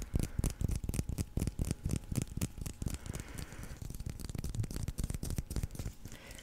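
A solid white leather baseball with red stitching is held in the fingers and scratched and tapped with nails and fingertips. Quick, dull, low-pitched taps come about four per second, mixed with soft scratching across the leather. Each tap dies away almost instantly.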